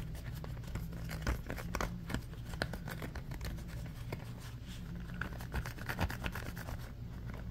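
A red ribbed silicone trivet mat is folded and crumpled in both hands while fingernails scratch along its ridges as it is squeezed. Quick, irregular scratchy clicks and rubbery crinkles rise and fall throughout, sitting over a steady low hum.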